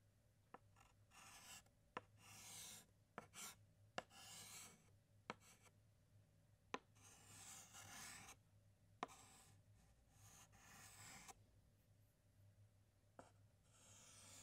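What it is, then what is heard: Chalk writing on a chalkboard. A white chalk stick held in the fingertips writes letters on a large flat black chalkboard. Bright, raspy scratching strokes alternate with brief pauses, punctuated by sharp taps as the chalk meets the board. There is a low steady hum underneath.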